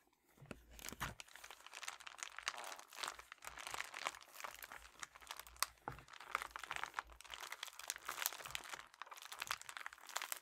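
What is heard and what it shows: A flat, apparently empty red metallic foil padded bubble mailer with a paper shipping label is crinkled and pressed with fingertips and nails. Dense, bright crackling and crunching continues for about ten seconds, with sharp snaps standing out. The sound is almost all high-pitched crinkle with very little low end.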